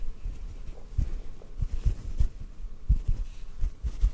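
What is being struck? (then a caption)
Cotton ball. A small white cotton ball held in one hand is tapped softly with the fingertips of the other hand. The result is a series of faint, muffled, low thumps with almost no brightness, each dying away quickly over a quiet low rumble.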